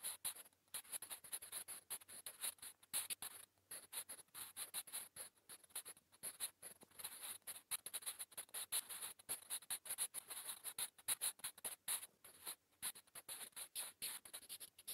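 A wooden graphite pencil scratches across a flat, solid grey lined notebook page in quick writing strokes. The sound is a dense run of short, dry, bright scratches with almost no low end, stopping and starting in brief pauses between strokes.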